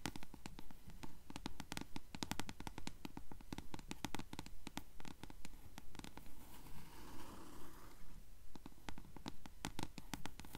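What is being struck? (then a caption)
Paperback book page edges (paper). Long nails tap and scratch the yellowed page edges of a closed blue paperback book held upright. A steady stream of quick, crisp taps runs throughout over a low rumbling bed, with a softer scratching rasp mid-clip around seven to eight seconds.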